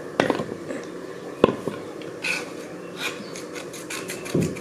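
A hand scrapes the surface of a flat grey slab of solid slate, which lies on a layered stack of slate pieces on black cloth, with a small metal knife blade in repeated scratching strokes. Dry, raspy scratches come and go, with bright hissing streaks and a few sharper ticks where the blade catches. The scrapes are short and quiet, with no ringing after each stroke.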